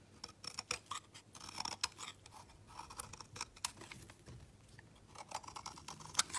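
A palm-sized solid blue bar of soap is carved and scraped along its edge with a utility knife blade. Quiet, crisp, bright scraping and shaving strokes come in quick, short bursts with no ring after each cut. Fine crunchy textures fill the high end while very little sits low.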